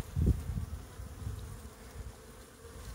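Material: Nothing is struck.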